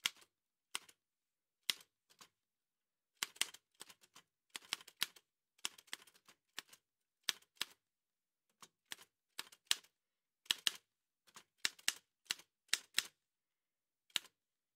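An old dark-grey metal Remington manual typewriter with a hollow body and paper loaded is typed on by fingertips in white satin gloves. Sharp, bright clacks come in irregular bursts and single taps, each dying away almost instantly with no low thump.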